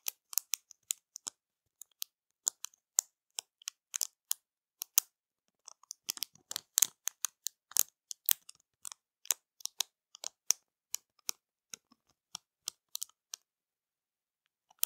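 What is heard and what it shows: Long matte nails tap and scratch across the rows of small pearl-like plastic bead stickers on a thin, palm-sized sheet inside a flat clear plastic packet. Dozens of short, dry, bright clicks come in irregular bursts and single taps, with quiet gaps between them.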